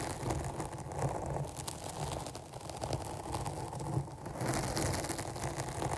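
Both hands scratch long painted nails across a black porous foam microphone windscreen covering a rounded capsule. The result is a steady, dense, crackly rustle with a heavy low-end rumble and little brightness, swelling and easing in uneven waves.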